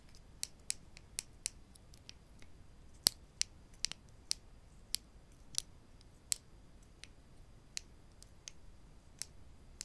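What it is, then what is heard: Wooden clothespins clicked together. Two small, solid wooden spring clothespins, one held in each hand, are knocked and clicked against each other with the fingertips over a wooden table, possibly with clicks from the spring clips. About 17 sharp, dry, high-pitched clicks sound at an irregular pace over a quiet background. Each click dies away almost instantly.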